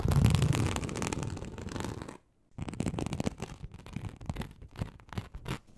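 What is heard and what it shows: Very long acrylic nails on both hands scratch across a large, flat, teal snakeskin-embossed leather sheet, likely faux, lying on a surface. A dense, continuous rasping scratch with a low, rumbly body runs for about two seconds, then breaks off into brief silence. It resumes as a quicker series of separate short scratching strokes that fade out.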